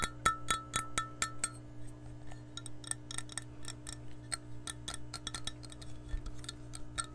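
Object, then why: Glass measuring cup. Long nails tap an empty, clear glass measuring cup held close to the microphone, striking its body and handle. Seven evenly spaced, bright clinks open the clip, each with a short glassy ring near 1.3 kHz. These give way to softer, quicker, irregular ticking taps over a steady low hum.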